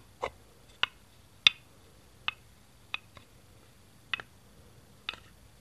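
Fingertips tap a single small, hollow green plastic Duplo brick, tilting it and setting it down next to the baseplate. The result is a series of short, sharp, bright clicks at irregular intervals, each dying away almost instantly against a quiet background.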